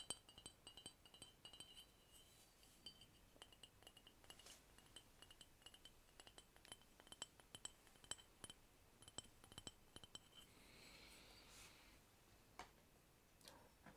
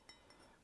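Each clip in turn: First: thick ceramic cup, not bone china. Second: thin-walled bone china cup.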